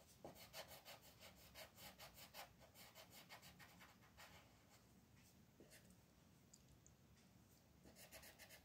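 A green colored pencil is rubbed back and forth across a flat paper mandala coloring-book page lying on a table, shading it while the other hand's fingertips hold the page still. Quick, fairly steady scratchy strokes come about three per second, bright and hissy with a soft papery rasp. The strokes ease to a quieter, fainter shading in the middle before picking up again at the end.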